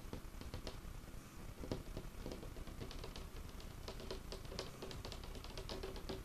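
Fingertips and nails of both hands tap fast on a large, solid, dark-stained wooden tabletop. The result is a quiet, rapid patter of short, dull knocks with brief bright clicks and very little ring.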